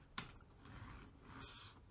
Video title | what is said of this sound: Testing the WEIRDEST 3D-Printing Materials | It sounds like stones grinding together.